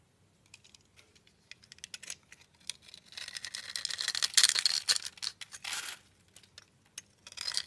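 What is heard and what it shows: A solid black embossed bar of soap held in the palm is scraped and carved with a utility knife blade. Bright, crisp scraping and cutting sounds come in irregular short bursts, growing into a denser stretch of continuous shaving in the middle before trailing off into scattered scrapes.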